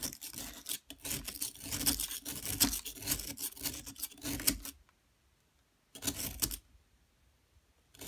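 A solid yellow plaster dig block is scraped with a metal pick or chisel while a long-nailed hand steadies it and powder falls away. Dense, bright, gritty scraping runs for almost five seconds, then stops. After a pause, a short burst of scraping follows, and a faint scrape starts at the very end.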